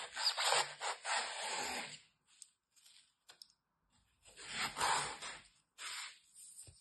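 A hand with red nails holds a large, solid, dry block of green floral foam with layered cut edges while a metal utility knife blade scrapes and slices into its top edge. Long, rough, bright rasping strokes alternate with shorter, quieter scratches and brief pauses between them.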